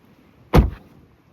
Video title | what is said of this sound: Model 3 Performance 100 Days Later: My Honest Thoughts | I like this thunk. This sound is great. It sounds solid.